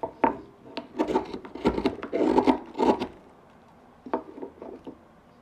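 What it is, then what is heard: Wooden block being carved. A hand-pushed gouge cuts and scrapes a small, solid pale wood pipe blank with a rounded carved bump. Irregular, dry midrange scraping strokes come in quick bursts, pause briefly, then return as lighter, softer cuts.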